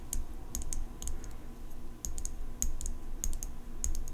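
Long pink nails tap the steel blade of an open folding pocket knife with an engraved metal handle, held horizontally. The result is an irregular series of sharp, bright metallic ticks with short ring, set over a steady low rumble.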